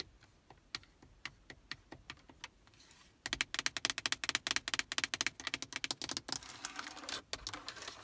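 Long acrylic nails tap quickly across the hard plastic faceplate, buttons and knobs of a Prius radio unit set in the dashboard. Light, sharp clicks come first, then from about three seconds the taps turn louder and denser. Near the end they blur into a brief rapid, rattling run before separating again.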